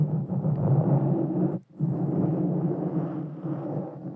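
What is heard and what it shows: Long painted fingernails on both hands scratch and rub a soft, porous black foam windscreen fitted over a small Blue Yeti Nano USB microphone. It makes a dense, low, muffled rumbling scrape that drops to near silence for a moment around 1.6 seconds, then resumes steadily with almost no bright content.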